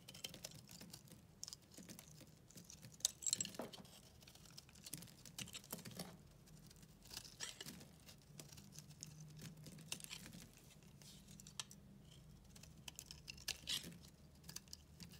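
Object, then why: Bar of white soap shaved with a blade. A utility knife blade shaves thin curls off a solid white bar of soap held in the hand. The result is a quiet, continuous run of soft, crisp scraping and crunching ticks, bright and high in tone, with a faint low hum beneath.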